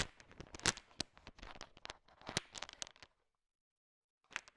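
A thin wooden stick stirs and taps a bowl filled with a heap of small, hard, sugar-shelled peanut M&Ms, mixing them. Dense bright clicks and rattles from the shifting candies fill about three seconds, then stop in silence before a short final burst of clicking.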